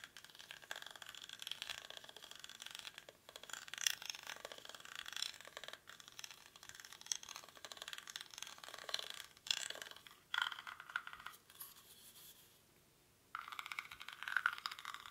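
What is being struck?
Woven rattan basket.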